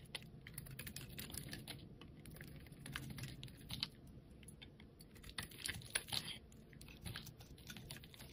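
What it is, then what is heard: Bar of soap being shaved. A utility knife blade scrapes and carves thin curled shavings off the face of a solid, palm-sized, yellow rectangular bar of soap held in a hand with long painted nails. It makes a quiet, steady run of quick, dry, crisp scraping ticks with a bright edge over a soft low rustle, each scrape dying away almost instantly.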